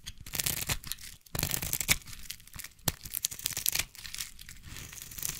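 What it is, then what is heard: Bar of soap being carved. A solid orange bar of soap held in the hand is carved with a small blade into long curls, producing a run of dry, crisp scraping and tearing strokes. The crackly, bright texture comes in bursts separated by brief pauses, with short sharp snaps where each curl breaks away.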